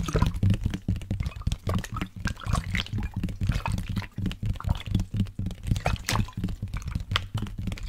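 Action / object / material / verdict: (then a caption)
tap / water bottle with liquid / unknown / none. A water bottle with liquid inside is tapped and handled. Quick, irregular dull taps blend with sloshing and plopping liquid sounds, mostly low in tone with a faint hum-like pitch around 117 Hz. Each tap dies away almost at once.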